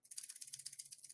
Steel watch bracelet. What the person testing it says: granted this is a 30 year old rolex sounds like a rattlesnake